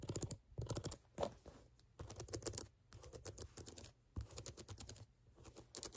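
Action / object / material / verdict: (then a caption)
scrape / rubber sneaker outsole / rubber / none. Long nails scratch across the ridges of a brown rubber sneaker outsole held sideways. The result is bursts of rapid, dry clicking and rasping as the nails catch on each tread ridge, with bright, crisp top end and short pauses between strokes.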